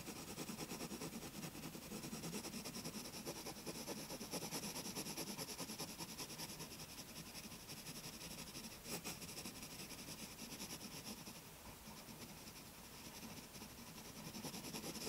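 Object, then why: Graphite pencil on a paper sketchbook page. A graphite pencil tip scratches and rubs in short strokes across a white paper page of a spiral-bound sketchbook on a wooden table, shading a hummingbird's head. The result is a steady, bright, hissing scratch with a quick, uneven rhythm that continues without a break for the whole clip.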